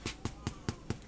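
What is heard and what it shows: A rustic Italian loaf fresh out of the oven is tapped five times, each tap a short, low, hollow thud that dies away quickly. The hollow sound shows the bread is baked through and done.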